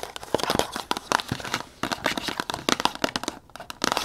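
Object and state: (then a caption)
Cardboard box, tapped and scratched. Long nails tap and scratch rapidly on the front and sides of a tall red printed cardboard box held upright. The sound is a quick run of dry, crisp taps and crinkly scratches with bright texture and very little low end. Each hit dies away almost instantly.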